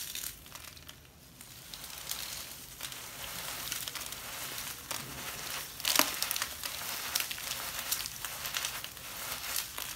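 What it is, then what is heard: Damp sand. Latex-gloved fingers crumble and rub a handful of damp grey sand held above a glass bowl of sand, squeezing clumps so they crush and fall. The sound is a soft, steady, bright crunching and crinkling with sharper crackles throughout and a louder crunch about six seconds in.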